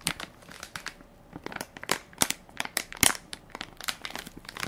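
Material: Plastic film.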